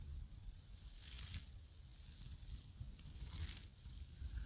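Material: Nylon.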